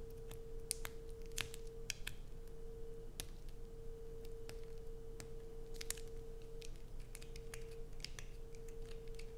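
Long acrylic nails scratch and scrape across the grooved surface of a solid light-blue bar of soap. Quick, sharp, bright scratches and clicks sound over a steady low hum and rumble.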